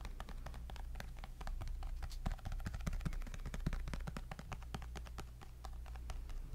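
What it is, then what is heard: Tablet glass screen. A tablet's glass screen, held beside the microphone, is tapped quickly with fingertips and nails. The sound is a steady stream of short, crisp clicks with no ring, over a constant low hum.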